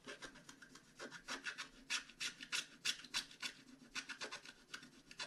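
A flat scratch-art card page is held down by one hand while the other hand scratches through its black coating with a wooden stylus. A quick, uneven run of short, bright, dry rasping strokes is heard, with little low end.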